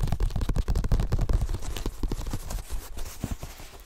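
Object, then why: Open paper book pages. Fingertips and nails rub and scratch the paper pages of an open book held in both hands. Rapid, irregular soft taps and scratchy rustles come in quick bursts, heavy in low thumps with little high hiss. They gradually ease off toward the end.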